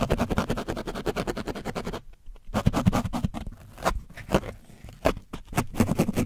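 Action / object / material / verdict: scrape / painted foam microphone windscreen / foam / none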